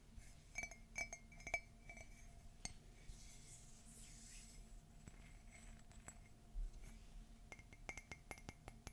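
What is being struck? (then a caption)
Ceramic coffee mug. Fingernails tap the side of a hollow, empty, white glossy ceramic Mickey and Minnie Christmas mug. Quiet, bright clinks with a ringing tone near 2.3 kHz fade almost at once. A steady low hum sits underneath, and faint scratching fills the pauses.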